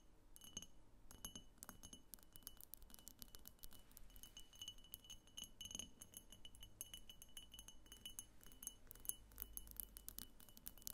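Long painted nails tap rapidly all around the sides of a medium, egg-shaped pink frosted glass diffuser lamp with a thick clear base, apparently hollow, as it stands on a table. The quiet, dense clicking gives bright, glassy clinks with a faint high ringing tone that dies away almost instantly after each tap.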